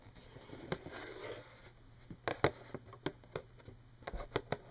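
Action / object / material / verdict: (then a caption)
tap / cardboard tissue box / cardboard / none. A hollow, printed cardboard Kleenex tissue box is held up and scratched and tapped with fingernails. Soft, dry scratching gives way to a series of short, hollow taps.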